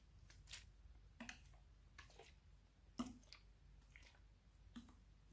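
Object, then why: Plastic bottle of liquid. A medium clear plastic makeup remover bottle with a barcode label, partly filled with clear liquid and small bubbles, is held in both hands, shaken and tilted so the liquid sloshes, and lightly tapped on its sides with fingertips. Quiet, soft wet squishes and sloshes mix with short, bright, crisp taps at irregular intervals over a low, steady background hum.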